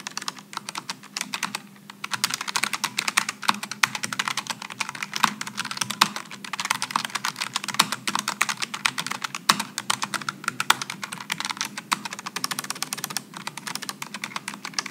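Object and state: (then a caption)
Low-profile mechanical keyboard being typed on. Fingertips type continuously on a Logitech G915 low-profile mechanical keyboard with aluminum and plastic keycaps and GL low-profile switches. The result is a dense, steady stream of short, bright clicks and clacks with almost no ring, over a faint low hum.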